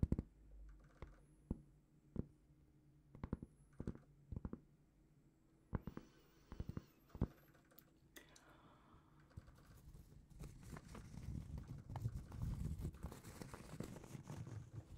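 A large, flat, solid round cork trivet is held in both hands and tapped and scratched with long painted fingernails. Sharp, dry, muffled taps stand apart for the first half, then give way to a steady, dense scratching that grows slightly louder toward the end, mostly low and dull with almost no ring.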